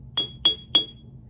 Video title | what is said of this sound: Little Einsteins: The Science of Sound! | this one here with the least water made the highest pitch